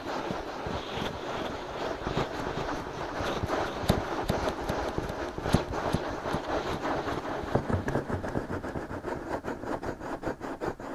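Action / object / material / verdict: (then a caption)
scrape / silicone microphone ears / silicone / none. Fingertips scratch and rub both soft silicone ears of a binaural microphone, making a dense, close scratching and rustling texture broken by quick, sharp clicky taps. The strokes fall in a loose steady rhythm, turning into quicker, more distinct scratches toward the end.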